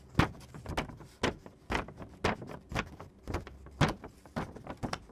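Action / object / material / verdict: scrape / glossy photo paper sheet / paper / none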